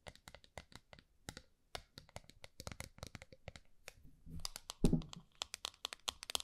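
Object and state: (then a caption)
Small round metal tin. Long nails scratch and tap the top of a small round gold metal tin, first held upright and then held flat. Dozens of quick, crisp clicks with bright edges sound in a steady patter, with a brief scratchy, thicker stretch and one louder, deeper knock near the five-second mark.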